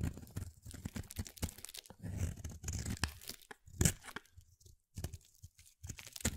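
A utility knife blade cuts and scrapes a pale mint solid soap bar, hand-sized and carved into a shape. A rapid run of short, crisp shaving and crunching strokes comes with brief pauses between passes, deep in body with bright scratchy edges on the sharper scrapes.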